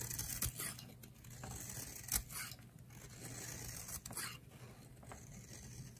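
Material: Soap.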